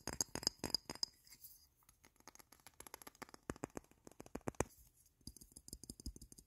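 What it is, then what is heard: Glass perfume bottle. Fingertips and nails tap and scratch a hand-sized frosted glass perfume bottle with a printed logo, partly filled with yellow liquid. Rapid, irregular bursts of short, bright clicks come with a high glassy ping in the opening second, then fall away into quieter scratchy taps.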